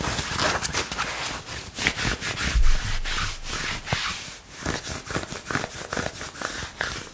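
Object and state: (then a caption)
Cotton shirt sleeve. Fingertips and nails scratch and rub the sleeve of a dark green long-sleeve shirt, likely cotton, worn on the forearm. The result is a steady stream of dry, papery scratching, with quick bright strokes over a soft low rumble of fabric rubbing.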